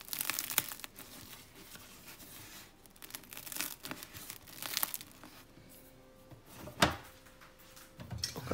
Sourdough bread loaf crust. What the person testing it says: ekmeklerin şu çıtırtısı dinleyin lütfen